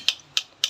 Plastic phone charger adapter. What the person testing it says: suaranya kan sama sekali e agak tebal ya